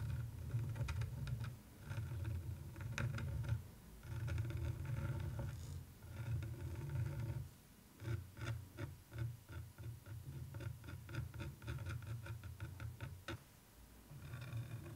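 A thin wooden stick and long nails trace and scratch the textured surface of a flat canvas print of a woman with a bicycle, close up. Soft, low-pitched rubbing and scraping comes in sustained stretches broken by short pauses, with faint crisp ticks over the top.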